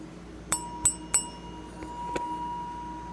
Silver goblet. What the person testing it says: it keeps ringing so if it were silver-plated it wouldn't make that sound